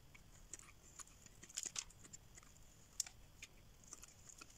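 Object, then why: Soap bar scraped with a metal blade. A metal blade scrapes a solid green rectangular dry soap bar held in hand, curling shavings off it. Quiet, bright, crisp scratching ticks come in an uneven series of short dry scrapes over a soft hiss, with almost no low end.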